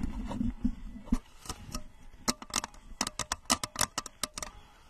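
A blue translucent plastic rocket-shaped lamp, about 30 cm tall with a red plastic nose cone and base and seemingly hollow or liquid-filled, is held close to the microphone and tapped and scratched with long manicured nails on both hands. Soft scratching and rustling fill the first two seconds, followed by a run of sharp, bright clicking taps with very short ring.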